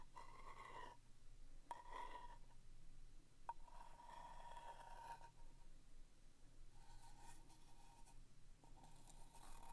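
A pointed wooden stick traces the lid label of a small, hollow, round vintage cardboard box of Noesting paper fasteners held in the hand, then scratches its side wall. The result is soft, quiet scraping and rubbing with a faint whistly tone around 930 Hz and a low steady hum underneath.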